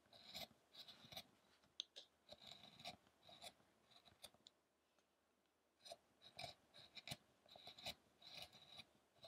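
A hand-held chisel scrapes and carves the chest ribs of a solid carved wooden Buddha statue resting on a dark table. The sound is a series of short, bright, dry scraping and shaving strokes with a quiet pause in the middle.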